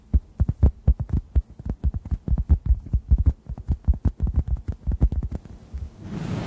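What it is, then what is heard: Foam sponge. A hand-sized, solid, yellow-orange synthetic foam sponge is tapped with fingertips above the microphones in a quick, steady run of about 33 soft, deep thumps that throb low with almost no brightness. Each tap dies away almost instantly, and in the last half second the tapping gives way to a brief, broad rustling hiss.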